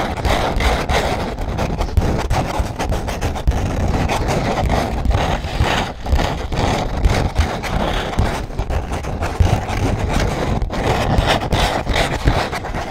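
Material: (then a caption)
EVA foam. A large, thin, flexible silver glitter foam (EVA) sheet has its rough surface scratched with fingernails. The result is a steady, dense, dry scratching texture that stays at a fairly even level throughout, with most of its energy in a low rumble and only a faint bright edge.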